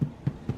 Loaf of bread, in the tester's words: you hear that that thud there that means it's done